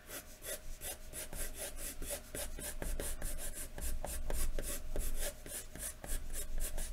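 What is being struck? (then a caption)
Graphite pencil on a paper sheet over a wooden desk. A wooden graphite pencil is scratched rapidly across a large, thin white paper sheet lying flat on a wooden desk in repeated hatching strokes. The result is a steady run of quick, dry, rasping scratches with bright, hissy bursts over a low rumble.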